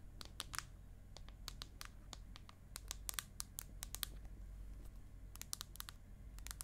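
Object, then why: Aluminium tablet back. Long acrylic nails tap and scratch the aluminium back of an iPad mini and its edges as the tablet is tilted at various angles. Quick, bright, dry clicks come in irregular clusters with little ring, mixed with faint scraping, over a steady low hum.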